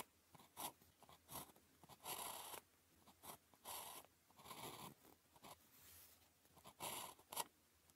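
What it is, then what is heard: Ballpoint pen writing on paper. The tip of a blue plastic ballpoint pen, held in the fingers, writes on a thin grid-printed calligraphy practice sheet lying flat on a desk. Quiet scratchy strokes come in short bursts and longer drags, with a bright, papery rasp and little low end.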